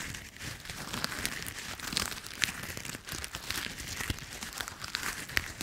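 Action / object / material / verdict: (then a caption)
scrape / handful of autumn leaves / leaves / none. A small handful of brown, dry autumn leaves is held in one bare hand in front of a microphone while the fingertips and palm crush and crumple them by squeezing and rubbing. The result is a steady, bright crinkling and crackling, with sharp little crunches popping out now and then and almost no low end.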